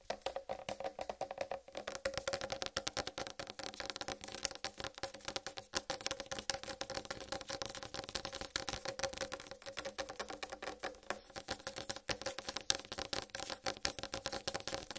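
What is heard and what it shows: Long red-painted nails tap fast on a large, whole, uncut watermelon with a green striped rind. The result is a dense, steady stream of crisp, dry clicks that stop almost instantly, bright and sharp with a clicking tone near 3.7 kHz and a faint hollow hum underneath. The tapping keeps an even, rattling pace for the whole clip.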